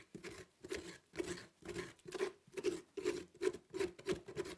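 A gloved hand scrapes the fibrous inner flesh of a large orange pumpkin, its top cut off and mostly hollowed, with a metal spoon. Quick, uneven scraping strokes repeat about two or three times a second. Each stroke gives a rough, scratchy rasp with a dull tone around 410 Hz and a bright, hissy edge.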